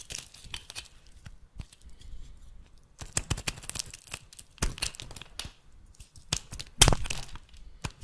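A metal blade scrapes and cuts thin flakes from the end of a solid oval bar of rancid dark brown soap held in the hand. It makes a series of short, dry, crackling scrapes with bright, hissy edges and a low muffled thud underneath. One louder, sharper cut stands out near the end.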